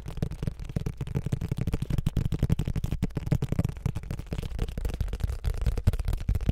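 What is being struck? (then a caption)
Paperback book with card cover. Fingertips rapidly tap and scratch the cover and edges of a thick, solid paperback book with a glossy printed card cover, held in both hands in front of the microphones. The result is a fast, continuous stream of dull, dry, low thumps with almost no bright content and very short decay, each tap dying away almost instantly.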